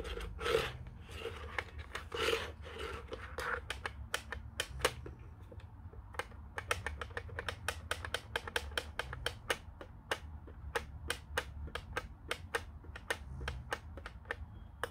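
Fingertips and nails tap and scratch the cradle and body of a white, hollow plastic Panasonic corded desk phone with its handset resting on the cradle. Many sharp, quick clicks ring out with no tail, mixed with softer scratching and a hollow plastic resonance around 500 Hz, over a steady low hum.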